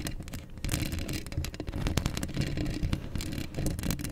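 Long acrylic nails scratch across a hollow steel mesh microphone grille up close. A dense, continuous scraping rasp with a heavy low rumble is heard, broken by quick bright ticks and clicks as the nails catch on the mesh.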